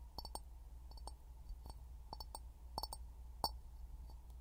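An empty, hollow clear glass jar is held upside down over a pin mic in both hands and tapped with fingertips and short nails. It makes a series of short, dry clinks and clicks with a faint ring near 900 Hz over a low background hum. The taps come in loose clusters, with one sharper, louder tap near the end.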